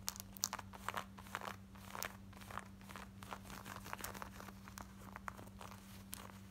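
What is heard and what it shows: Long nails scratch quickly over worn, light blue distressed ripped denim shorts, working across the pocket, the button area and the frayed front. Rapid, dry, crackly scratches with bright fabric texture come in dense bursts, over a steady low hum near 200 Hz.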